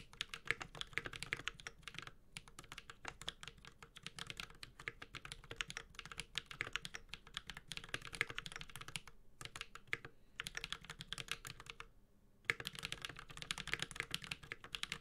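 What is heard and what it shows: Fingertips of both hands type continuously on a Space65 Cybervoyager, a 65% metal-case mechanical keyboard with Holy Panda switches and ABS plastic keycaps. Rapid, bright, clacky keystrokes with very short decay run in dense bursts, broken by brief pauses near 2, 9, 10 and 12 seconds.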